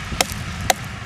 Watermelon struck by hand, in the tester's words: తయారైతే గనుక tongue tongue మని sound వస్తుంది లేకపోతే డొప్ప సౌండ్ లాంటిది వచ్చేస్తుంది